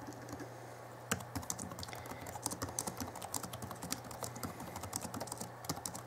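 Both hands type with their fingertips on the backlit chiclet keyboard of a 2011 Alienware M11x laptop with plastic keys. After about a second of quiet, rapid, bright, short plastic key taps clatter over a steady low hum.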